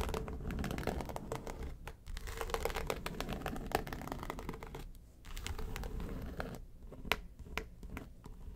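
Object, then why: Small flat case with faux-leather covering. Long nails scratch and tap the front and lid of a flat, hollow yellow case covered in textured faux leather. The result is a dense run of crinkly scratching and quick, dry clicks with a dull, low-heavy body and almost no ring. Brief lulls come near the two- and five-second marks, and a few sharper taps stand out toward the end.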